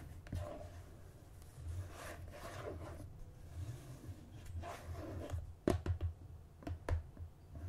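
Fingertips and nails rub and scratch the lid and rim of a red and cream plastic margarine tub held on a table. Soft, dry scratching and rubbing sweeps under a low rumble, then several sharp, bright clicks and taps stand out near the end.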